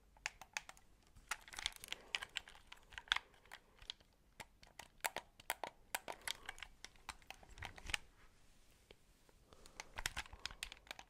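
A white hollow plastic game controller is held close to the mic while fingertips tap its shell and click its buttons and thumbsticks. The result is a quick, irregular run of dry, bright clicks and taps with very short decay and little low end. The sounds briefly thin out near the end before a final flurry.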